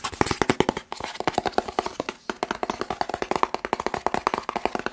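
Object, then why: Cardboard box. A medium, hollow, white and blue printed cardboard test-kit box is held in one hand and fast-tapped with fingertips and nails. About forty quick, dry taps with a hollow midrange knock come in rapid bursts, with brief pauses near 0.9 and 2.2 seconds. Each tap dies away almost instantly.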